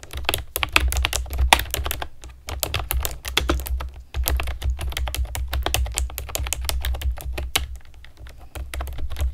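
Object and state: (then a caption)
Plastic keyboard being typed on. Long nails and fingertips type steadily on a compact plastic typewriter-style keyboard with round plastic keycaps and a hollow plastic body. The result is a rapid stream of short, bright clicks and clacks over a constant low rumble, with brief pauses between bursts.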